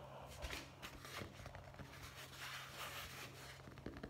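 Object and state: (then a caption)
Hardcover book. Fingertips tap rapidly on the cover of a dark hardcover "Guest Book" with gold lettering, a solid cardboard-covered book held in the hands. The result is a quiet, dense stream of soft, dull taps with brief rustles, over a faint steady low hum.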